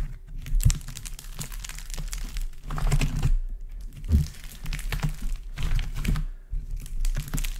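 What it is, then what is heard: Dried, cracked modelling clay. Both hands press, squeeze and crush a large heap of dried, multicoloured modelling clay in warm and cool colours, its cracked crust solid and crumbly under fingertips and palms. Dense bursts of short, dry cracking and crunching crackles rise and fall in waves over a low, steady rumble.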